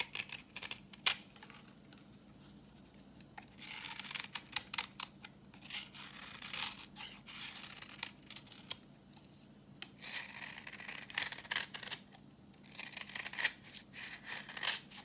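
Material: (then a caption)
Soap. A solid, translucent reddish bar of dry vintage soap, held in the hand, is scraped with a utility knife blade, peeling off orange shavings. Bursts of bright, crisp, crackly scraping come and go over a faint low steady hum, with short sharp clicks between the strokes.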